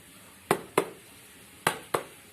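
A table is tapped with the fingers four times, in two quick pairs, giving short, dry knocks with a midrange tone that fade almost at once. Tapping with the fingers sounds slightly louder and clearer than knocking with a fist.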